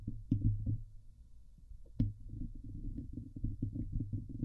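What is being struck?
Steel wire-mesh microphone grille.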